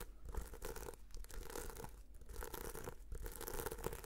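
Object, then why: Sequin-covered notebook. A red sequin-covered notebook is held in both hands while fingernails scratch slowly across its sequins. The result is a steady, dense scratchy rustle with crackly, crinkling texture over a low background rumble, rising and falling gently without clear separate strikes.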